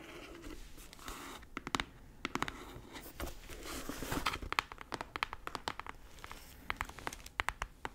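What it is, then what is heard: Cardboard shipping box. Long red acrylic nails scratch and tap across the flat face of a medium brown corrugated cardboard shipping box, closed and hollow with packing tape, held upright in both hands. Soft, papery scratching runs underneath a quick series of crisp, bright clicking taps that stop dead with almost no ring.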